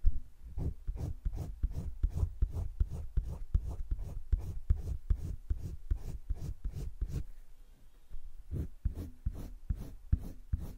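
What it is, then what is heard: Pencil shading on sketchbook paper. A hand strokes a green colored pencil back and forth across thick cream drawing paper in a spiral-bound drawing book lying flat, shading the edge of a leaf. Quick, soft, scratchy strokes repeat in a steady rhythm, each with a low dull thump and a faint bright hiss. There is a brief pause near the end before the strokes resume.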